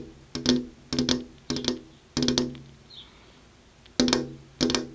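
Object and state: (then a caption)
Glass window pane tapped. Long purple-painted fingernails tap on a flat glass window pane with an insect screen behind it, in short clusters of quick clicking taps separated by quiet pauses. Each cluster has a bright, clicky attack over a low resonant tone around 250 Hz that dies away quickly.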